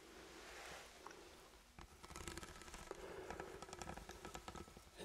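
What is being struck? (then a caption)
Ribbed steel food can. A sealed, ribbed steel food can is held in both hands and tapped and scratched with the fingertips. A soft, hissy scratching opens the clip, then gives way to a run of quick, light, dry taps with a faint metallic tone around 380 Hz and a bright, crackly edge. All of it stays quiet and close.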